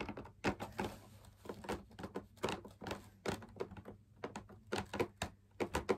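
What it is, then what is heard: Fabric drum lamp shade, fingertip tapping. Fingertips tap along the outer rim of a hollow, perforated, fabric-laminated drum lamp shade, producing an irregular run of soft, hollow thuds. Each tap dies away almost at once, with a mid-toned body around 390 Hz over a faint steady low hum.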